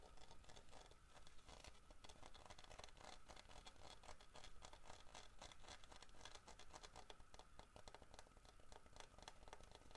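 Fingertips tap and scratch the textured carved back and head of a large, solid carved wooden bear figurine. The result is a quiet, steady stream of rapid, dry taps and scratchy rustles with almost no ring, over a low background rumble.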